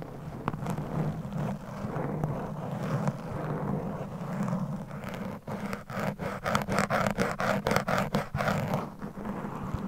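A single rounded foam microphone cover is scratched and then tapped by very long pointed acrylic nails. A steady, muffled scratching rustle with a low hum-like body fills the first half, then gives way to a quick, uneven run of soft, dull taps with little ring.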